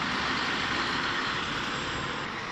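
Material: Nothing is struck.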